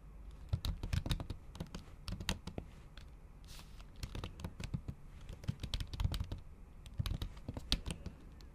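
Long acrylic nail tips tap repeatedly on a MacBook keyboard covered with a thin pink patterned plastic/silicone cover over its solid keys. Quick, dry clicks come in uneven bursts, each with a soft low thud and a brief bright tick that dies away almost at once, over a quiet background.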